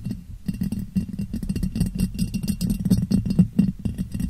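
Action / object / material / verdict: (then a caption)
tap / ribbed glass jar / glass / none. A clear, ribbed, hollow and empty glass jar is turned upside down over a microphone and tapped with fingertips and nails. Quick, irregular taps make dull, hollow thumps centered low, around 200 Hz, with faint clicky edges and a very short ring that barely sustains between hits.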